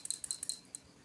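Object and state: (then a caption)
Free-moving steel ball valve in a gas regulator. A gas regulator is shaken, and the dry steel ball valve inside rattles freely with a quick series of bright, high-pitched metallic clicks. The clear, ringing rattle shows the ball is not stuck by dust, so it moves freely and will not block the gas flow.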